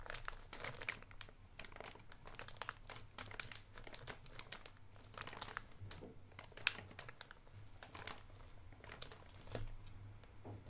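A thumb crinkles and scratches the clear label window of a blue soft plastic Electronic Wipes wet wipes pouch held in one hand. Dense, quick, bright crackles and scratchy rustles come in uneven bursts throughout, over a steady low hum.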